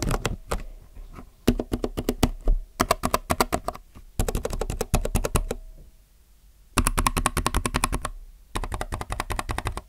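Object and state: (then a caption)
Plastic mechanical keyboard being typed on. Fingertips type on a compact mechanical keyboard with plastic keycaps, producing bursts of rapid, clacky keystrokes separated by short pauses. The clicks are sharp and short, with a low, full thump under each key press.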